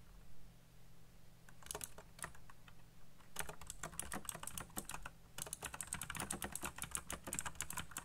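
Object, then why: Plastic mechanical keyboard. Fingertips type fast on a black plastic, colorfully backlit mechanical keyboard, producing sharp, bright key clacks over a steady low hum. A few scattered presses at first give way to a rapid run of typing, a brief pause, and then a dense, continuous burst of clicking to the end.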